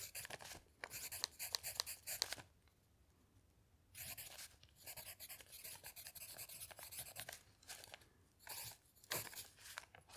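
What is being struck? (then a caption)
Pencil on a paper notepad. A pencil scratches across a thick stack of lined paper sheets in a notepad while the other hand's fingertip rests on a dictionary page. Bright, dry scratching strokes come in quick bursts, with a quiet pause of over a second before the writing resumes in shorter clusters of strokes.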